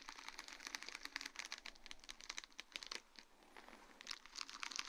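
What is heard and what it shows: Long dark-painted nails of both hands rapidly tap and scratch a flat sheet of small acrylic rhinestones, rows of tiny faceted stones on a grey plastic mesh backing, lying on a wooden board. The result is quiet, dense, bright crinkling clicks and scratches with almost no low end. The sound eases briefly just after the midpoint, then picks up again toward the end.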